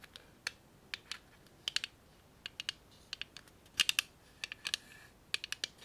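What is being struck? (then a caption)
Clear plastic tape dispenser. Long nails tap and click on a small hand-held clear plastic tape dispenser holding a roll of tape. About two dozen quick, dry, bright clicks come in irregular bursts, each stopping instantly with no ring, over a quiet background.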